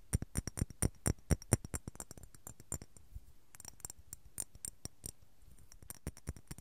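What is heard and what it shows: A small clear glass apothecary jar with a glass lid, filled with white cotton balls, is held in both hands and tapped and shaken with fingertips and nails. Quick, irregular taps sound in bursts, each a short dry click with a low thump and a bright tick that stops almost at once. Quieter stretches and brief pauses fall between the louder runs of taps.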